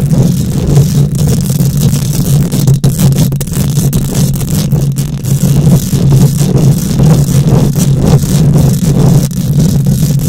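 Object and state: Metal mesh microphone grille being scratched.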